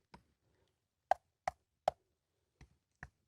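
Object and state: Solid sandstone rock ledge.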